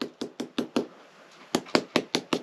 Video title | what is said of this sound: 54-🏡La PARED nos pone a PRUEBA!😵Batalla con las MAESTRAS VERTICALES🛠REHABILITACIÓN CABAÑA PIEDRA⛏️ | de aquí para abajo porque se se oye hueco todo